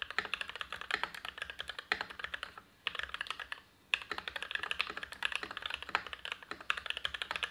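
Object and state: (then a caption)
Mechanical keyboard with PBT keycaps. Continuous two-handed fingertip typing on an Everglide SK87 dual-mode tenkeyless mechanical keyboard with PBT keycaps, lubed Gateron INK Black v2 switches and an ABS plastic case. Dense, short, bright clacks run in quick bursts, with two brief pauses around the 3-second and 3.5-second marks. The result is a crisp, fast typing patter with almost no low end.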